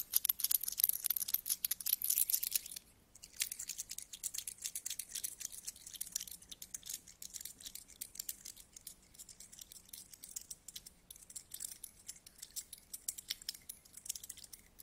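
Two solid metal coins are held between the fingertips close up and rubbed and tapped against each other. Bright, dense metallic clicks and scraping are loudest for the first few seconds, break off in a brief pause near the three-second mark, then resume as a steady stream of quieter, rapid ticks and rubs until the end.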